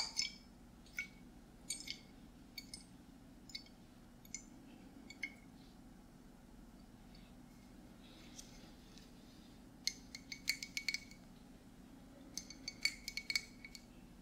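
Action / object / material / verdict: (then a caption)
tap / glass swing-top bottle / glass / none. A medium glass swing-top bottle with a red stopper is held close to the microphones while fingernails tap its body. The taps give short, bright clicks and clinks with a ringing tone near 2.2 kHz. They come in sparse single taps at first, then in quicker clusters over a low, steady background hum.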